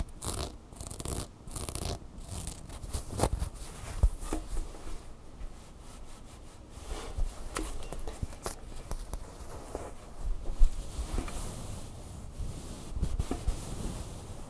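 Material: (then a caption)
Fabric. Fingernails scratch and rub the soft fabric surface of a red stuffed plush bird. The result is a quiet, continuous papery rustle and scraping with occasional sharper, brighter strokes and muffled low thumps.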